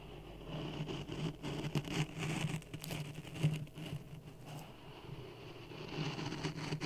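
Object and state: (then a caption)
Dry sand in a plastic cup, stirred. A wooden stick pokes and stirs dry sand in a clear plastic cup resting on a red microphone. It makes a close, low, grainy rustle with soft crackles and patter-like taps. Louder scrapes swell and fade throughout.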